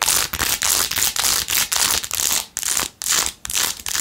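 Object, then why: Rhinestone-covered plastic phone case. Long nails scratch quickly across the back and edges of a blue-jeweled, rhinestone-covered plastic phone case. The result is a series of rapid, bright, gritty scraping bursts with brief gaps between strokes and almost no low end.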